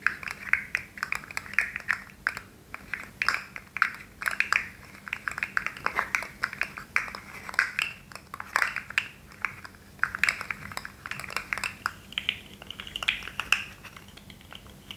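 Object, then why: Articulated plastic fidget slug toy. A hand-sized rainbow articulated plastic sensory slug with hollow interlocking segments is held in both hands with glittery nails and bent and flexed so its segments click and rattle against each other. The result is a steady stream of quick, dry, bright plastic clicks and rattles with almost no ring, over a faint low hum.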